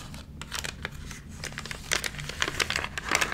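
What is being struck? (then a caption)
Glossy paper magazine pages. Fingertips rub and flatten the crinkled pages of a large glossy paper magazine, wrinkled from water damage and lying open on dark fabric, then turn a page. Bright, dry crinkles and crackles sound over a faint low hum, growing denser and louder toward the end as the page turns.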